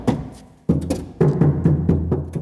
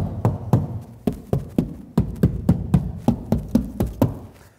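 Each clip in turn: First: hollow-sounding car door sheet metal. Second: well-damped car door panel.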